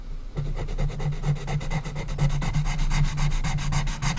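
An orange colored pencil rubs and scratches back and forth along a strip of the closed lid of a small, hollow, unfinished light-wood coffin-shaped box while coloring. The result is a steady run of quick, slightly uneven scratchy strokes, with bright grainy rasps over a low, hollow body tone near 145 Hz.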